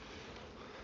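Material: Nothing is struck.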